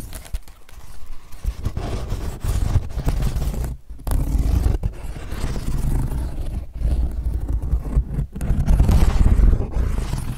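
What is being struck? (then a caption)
Woven straw sun hat. A woven straw sun hat is handled close up, its brim folded and pinched while fingers rub and scratch the braided straw. The result is dense, irregular crinkling and scratching with a heavy low rumble from handling. The sound comes in bursts separated by brief quiet gaps.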